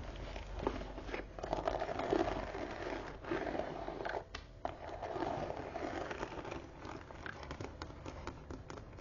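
Fingertips and long nails tap and scratch the front panel of a closed, hollow, soft-sided medium brown leather tote with a crocodile-embossed surface, held upright on a wooden table. The clip is a steady run of dry, crinkly scratching with soft, muffled taps, centered in the low mids and with little high content. The taps are short and do not ring on.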